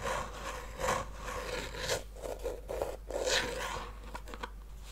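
Fingernails scratch and tap the top lid of a small hollow treasure-chest box made of faux-leather-covered wood with metal studs and a latch. The result is a steady, dry scraping rasp with brief, soft taps that have a hollow, boxy tone and little ring.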